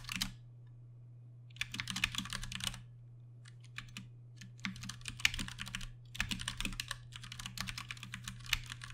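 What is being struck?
Mechanical keyboard with plastic keycaps.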